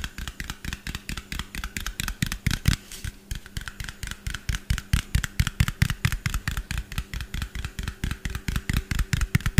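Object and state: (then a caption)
Small plastic bottle tapped with fingernails. Fingernails of both hands tap rapidly on a small, hollow white plastic bottle with a yellow cap. The taps land in a fast, uneven run, each a dull, hollow low knock with a bright clicky edge and almost no ring.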